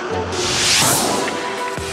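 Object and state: Nothing is struck.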